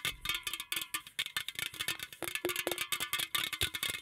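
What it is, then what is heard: Aluminum drink can. A green aluminum drink can, held in both hands, is tapped and scratched with fingertips and nails on its body and top rim. The result is a rapid, uneven series of short, bright metallic taps and scrapes, with a hollow ring around 350 Hz that dies away almost at once.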